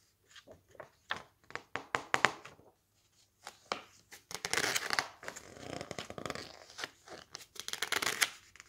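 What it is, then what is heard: Glossy-paper book pages flipped. Fingertips flip the pages of a thick cookbook with glossy coated paper in quick succession, so the sheets flap and rustle. Sharp, bright paper snaps come first, followed by longer crinkly swishes as several pages slide past together.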